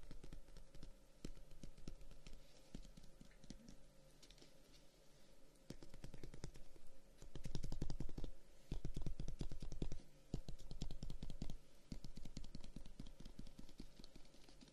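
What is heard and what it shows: A handheld closed folding fan with dark wooden guard sticks is rapidly tapped and scratched with short fingernails on the wood surface. The result is a quick, irregular stream of short, dry clicks and taps, with a low, thumpy body and a soft scratching texture between them. The taps grow denser and louder in bursts through the middle before easing off.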